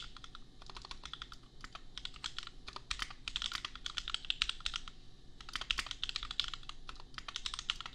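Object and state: Mechanical keyboard with plastic keycaps.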